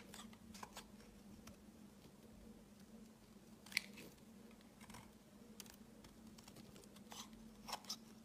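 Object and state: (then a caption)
Soap bar being shaved into chips. A utility knife blade shaves a solid pale green oval soap bar into hard, flaky chips. Quiet, bright scraping crunches and sharp little clicks come at irregular moments over a faint, steady low hum, with one crisper snap near the middle and a couple more toward the end.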